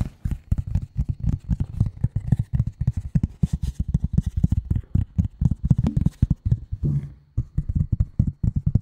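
Long nail tips of both hands tap rapidly on a flat gray cardboard sheet lying in front of the mic. The result is a steady stream of quick, dull, low thuds, each dying away almost at once, with a brief rougher brushing sound near the end.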